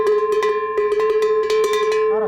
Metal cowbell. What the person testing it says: si je le frappe plus, il joue plus fort.